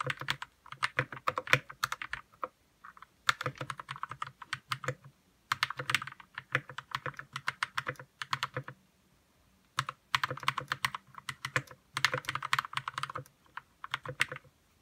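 Fingertips type on a white RK61 60% mechanical keyboard with plastic keycaps, lubed red switches and a hollow plastic case. Quick bursts of bright, short clacks with a faint low hollow thud beneath come in runs of several seconds separated by brief pauses.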